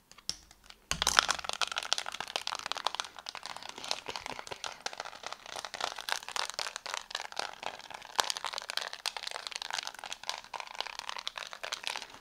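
A small, flat plastic infrared LED remote control with rows of colored rubbery buttons is held in both hands while fingertips and nails press and tap the buttons quickly. A continuous stream of crisp, clicky crackling sounds starts just before the first second and runs dense and bright to the end.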